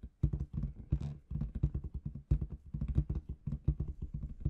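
Long red nails tap rapidly on a large inflated clear latex balloon with confetti inside. The result is a quick, irregular run of short, dull, low thumps with almost no ring, plus a brief brighter rustle near the one-second mark.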